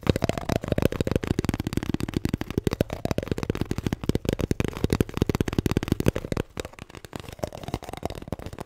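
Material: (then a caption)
Paper. A paper toilet roll is tapped and scratched in a rapid, continuous stream of soft, dull taps. The sound is low and muffled with little brightness, and each tap dies away almost instantly.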